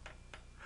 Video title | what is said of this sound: Federal Railroad Administration Steam Locomotive Safety Training Video | A tap with a hammer can indicate looseness, a crack, or other problem, which is identifiable by sound or movement.